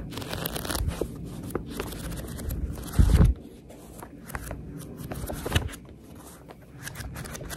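Long red nails and a thumb riffle and scratch the paper page edges of a paperback book held up close. A steady papery rustle runs throughout with crisp, bright ticks and scrapes, swelling into one louder, heavier flutter of pages about three seconds in before settling back into softer scratching.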